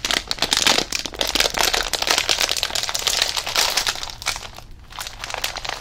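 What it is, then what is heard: Plastic foil chip bag, full. A green Rizadas chip bag made of plastic foil and full of chips is held in both hands, crinkled and shaken, then raised overhead. Dense, bright crinkling and crackling runs almost without pause, with a brief lull near the end before quieter rustling resumes.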